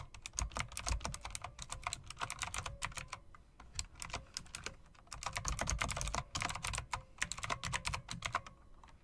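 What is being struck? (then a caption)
Plastic and metal mechanical keyboard. Fingertips with long dark press-on nails type rapidly on a full-size, RGB-backlit, typewriter-style mechanical keyboard of plastic and metal, with round plastic keycaps set in chrome-look rims. The result is a steady stream of sharp, bright clicks over soft low thuds, each keystroke dying away almost instantly. A brief lull comes just before the typing picks back up.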